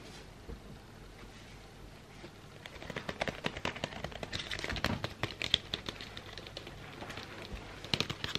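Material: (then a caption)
Cardboard. A long, thin, hollow cardboard box of Stamford Californian White Sage incense sticks is held in the hands and tapped and handled with fingertips and nails. After a quiet start of about two and a half seconds, a rapid, uneven flurry of dry, crisp taps and scratchy clicks begins, bright in tone and dying away instantly with no ring.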